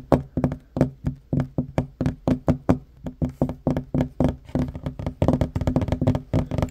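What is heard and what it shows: Short fingernails and fingertips tap quickly on a solid wooden tabletop, alternating fingers. Each tap is a dull, woody knock with almost no ring and a low-mid body. The taps start as distinct beats and grow denser and faster toward the end.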